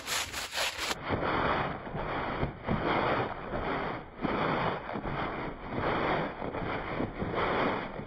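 A green push broom scrubs a small, dirty woven fabric rug that is wet and foamy. Steady back-and-forth strokes make a broad, wet, rasping swish that swells and fades with each pass.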